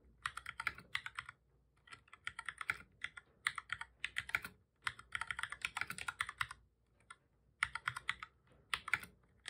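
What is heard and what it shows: Fingertips of both hands type on a black full-size plastic computer keyboard, making rapid bursts of short, dry, bright key clicks. The presses come in quick runs separated by brief pauses, and each click dies away almost instantly.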